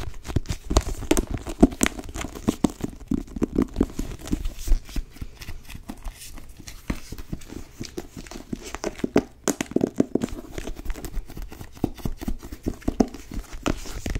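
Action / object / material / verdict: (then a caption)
tap / cloth-bound hardcover book / cloth, board / none. Long nails tap rapidly across the cover of a blue cloth-bound hardcover book held up in the air. The taps are dull, dry and short, sitting mostly in the low and low-mid range with little brightness, and come in dense, uneven bursts with faint scratchy, crinkly textures between them.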